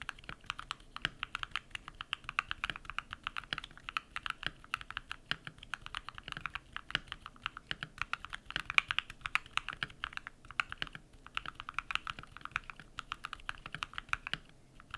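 Bare fingertips type rapidly on a compact modded mechanical keyboard with white PBT plastic keycaps and lubed switches. A dense, steady stream of short, crisp key clacks comes through, centered in the upper mids around 2.4 kHz with little low end. Each press dies away almost instantly, with a brief lull now and then.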